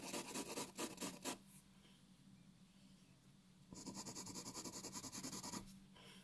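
A graphite pencil draws short hatching strokes on a white paper sheet resting on a wooden table, giving a bright, dry scratching. Quick rhythmic strokes are heard in two bursts, at the start and again after a quieter pause of faint rubbing.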